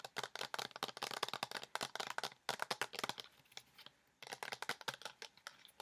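A hand-sized pink plastic lotion bottle with a white cap, hollow and partly filled with liquid, is tapped and scratched with long nails. Fast, sharp, bright clicks come in dense bursts, with a brief quieter scratching stretch before the tapping resumes.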